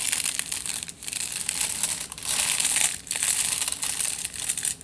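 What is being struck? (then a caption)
Aluminium foil-wrapped tube. Fingertips and nails scratch along a crumpled aluminium foil tube, crinkling the foil. The result is a steady, dense, bright crackling rustle with almost no low end, easing briefly at a few moments before picking back up.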